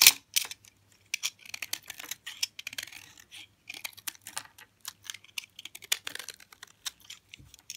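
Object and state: Hard, dry bar soap.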